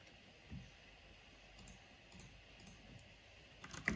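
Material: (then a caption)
Plastic. Fingertips and long nails type on a black plastic mechanical keyboard with a purple backlight, making quiet, clicky key taps. The short, dry clicks are scattered across a soft background hiss, with a slightly louder cluster of taps at the very end.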